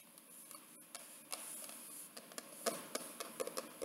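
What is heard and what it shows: Fingertips and long nails tap quickly across the rigid board cover of a large wedding photo album, a paper-covered cardboard surface, near the photo window. About thirteen short, dry taps stand out, each a crisp click with a papery body around 680 Hz and a bright edge, dying away almost at once over a faint hiss with almost no low end.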